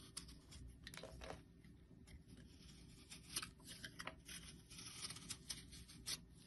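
A solid round yellow bar of soap, held in the hand, is shaved down with a metal blade. Soft, bright scraping and crisp shaving strokes repeat over a faint low rumble, with a few sharper, louder cuts standing out.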